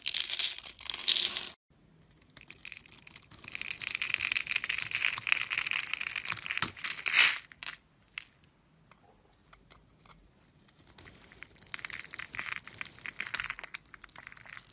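A metal blade scrapes and carves small cubes off the edge of a solid, hand-held dark brown bar of soap with a cross-hatched surface. Bright, crisp crunching and scraping comes in dense bursts, broken by short silences and a longer quiet stretch near the middle before the carving resumes.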